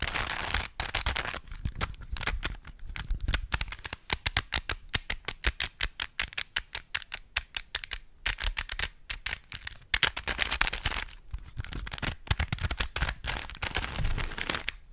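Long nails twist and click the layers of a small, hollow plastic 3x3 Rubik's cube with stickers. Rapid, dense bursts of sharp, bright plastic clicks and scratchy turning sounds come with brief pauses between flurries. Each click is dry and dies away almost instantly.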